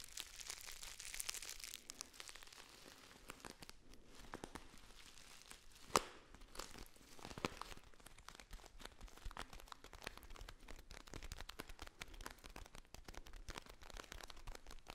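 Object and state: Foil tea pouch being crinkled.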